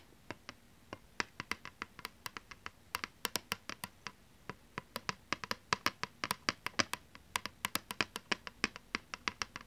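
Long nails scratch and tap both faces of a thin plastic PlayStation 2 game disc, producing a rapid, uneven series of sharp, bright clicks that die away almost instantly. The taps are crisp and high with very little low end, and they grow denser and slightly louder toward the end over a faint background hiss.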